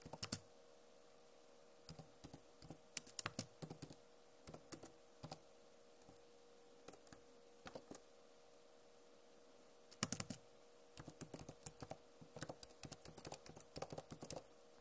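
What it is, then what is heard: Plastic laptop keyboard. Long nails tap across the plastic keycaps of a backlit Acer laptop keyboard, making short, dry, bright clicks in quick irregular bursts. Dozens of taps are separated by brief pauses, with a sparser stretch in the middle, over a faint steady hum.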